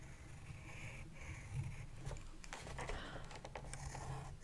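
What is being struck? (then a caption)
Pencil on a spiral-bound paper sketchbook. A pencil is drawn across the page of an open spiral-bound paper sketchbook in a scratching, writing motion while the other hand holds the notebook steady. Quiet, dry scratchy strokes with bright, short edges come through over a steady low rumble, growing busier in the second half.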